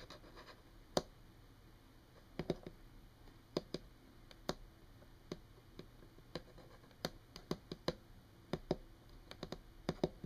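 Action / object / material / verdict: tap / wooden tabletop / wood / none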